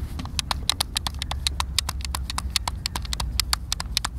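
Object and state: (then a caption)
Plastic game controller. A hand-sized, hollow white plastic Xbox controller is held in both hands while fingertips and thumbs press and click its buttons. The result is a rapid, irregular string of short, dry, bright clicks with almost no ring, over a steady low rumble.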